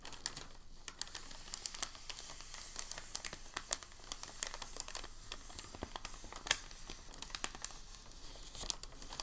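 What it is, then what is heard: Packing paper sheet being folded. A thin sheet of packing paper is folded and creased along an edge by fingers, giving a steady run of dry, bright crinkles and sharp little crackles. The crinkling stays quiet overall, broken by short, louder snaps that stop instantly.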